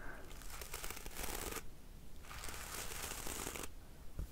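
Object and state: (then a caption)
Hairbrush bristles strummed. Fingers strum and scratch the bristles of a black plastic hairbrush resting on a pink cushion. Two long bursts of dense, bright, crackly rasping are separated by short quieter pauses, over a steady low rumble. The sound is a continuous fine scratching texture rather than distinct separate hits.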